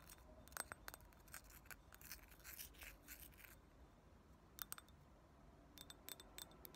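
A small, thick, empty round clear glass ashtray with solid walls is tapped and scratched with fingernails on its rim and sides. Quiet, quick clicks and bright scratchy strokes come in dense bursts, with short high glassy pings that die away almost at once.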